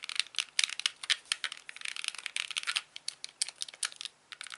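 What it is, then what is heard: Plastic game controller buttons clicked and tapped. Fingertips click the buttons and tap the surface of a hand-sized, white, hollow plastic Wii Classic controller with a cable. The result is a rapid, irregular run of dry, bright clicks and light taps, each dying away almost at once with no low-end body.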